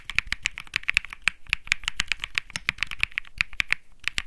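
Two hands type continuously with their fingertips on a cream Think 6.5 65% mechanical keyboard with Bsun Lollipop switches and plastic keycaps. About 30 quick, bright keystrokes are heard, each a sharp clack centred around 2.5 kHz. Every clack stops almost instantly, with little low-end thump.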